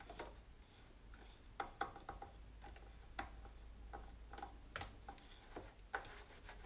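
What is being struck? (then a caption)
Plastic stove control panel with knobs. A hand wipes and rubs with a cloth around the knobs on the white plastic control panel of an electric range, its hollow housing giving back light, hollow ticks and clicks. Short, dry taps ring with a bright edge and are spread irregularly over soft, quiet rubbing, with a steady low hum underneath.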